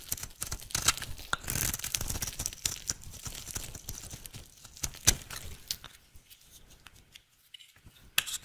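An oval, solid, pink striped bar of dry soap, held in the hand, is shaved with a utility knife blade into fine shreds. Dense, bright scraping and crisp tearing crackles run throughout, with a few sharp clicks standing out, thinning and growing quieter toward the end.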